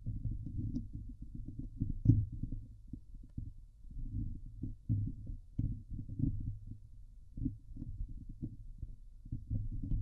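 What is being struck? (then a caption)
Steel wire-mesh microphone grille. Medium-long painted fingernails on both hands scratch and tap the hollow steel wire-mesh grille of a Blue Yeti microphone head on its metal body. The result is a dense, muffled stream of low thumps and rubbing scrapes, centered around 105 Hz, with almost nothing bright. Each tap dies away almost at once.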